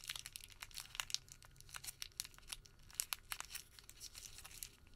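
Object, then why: Small rolled paper receipt. A small rolled white thermal paper receipt is twisted and pinched between fingertips, making a quiet, continuous run of dry, crisp crinkles. The sharp, bright crackles come one after another and stop instantly, with almost no low end beneath them.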